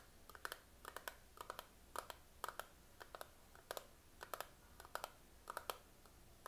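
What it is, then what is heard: Plastic eyeshadow palette. Fingernails tap rapidly on the lid and sides of a small, hollow, closed plastic eyeshadow palette with a clear patterned plastic lid, held in both hands. The result is quick clusters of sharp, bright clicks that stop at once, with a hollow plastic tone around 1.2 kHz and short pauses between bursts.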